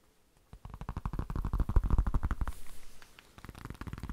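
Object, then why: Faux-leather flip case. A black, phone-sized faux-leather flip case is held flat and tapped with the fingertips and nails. After half a second of silence, the taps come fast and uneven as soft, dull, low thuds with almost no ring. They ease off briefly near the three-second mark, then pick up again.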